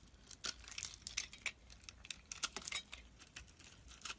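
A metal blade shaves pieces off the remaining solid chunk of a red and white soap bar held in the fingers. It makes a rapid, uneven series of short, crisp scraping strokes that are bright and dry, with almost no low end and very little ring after each cut.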